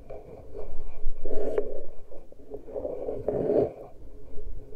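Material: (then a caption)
Metal. Fingertips and nails from both hands scratch and pinch the uncovered metal capsule grilles of the microphones on a Tascam recorder. Close, low, rumbling scrapes and rubs come in uneven bursts, swelling loudest around the middle and again near the end.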